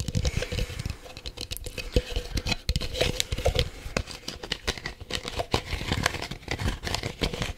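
A small, hollow, empty, light green translucent plastic cup is held in both hands in front of the mic and tapped and scratched with the fingertips. Quick, dry taps and crinkly scratching come in a dense, uneven patter, with thumpy lows and a faint hollow tone near 500 Hz. Each hit dies away almost at once.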